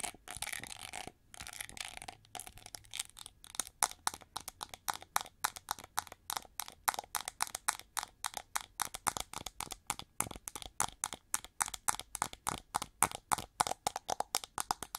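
Long nails scratch and tap the molded ridges of a gold-plated plastic winged hair brush. A burst of dense, bright scratching gives way to a rapid, irregular stream of sharp, crisp clicks and ticks that stop almost instantly, with little low end.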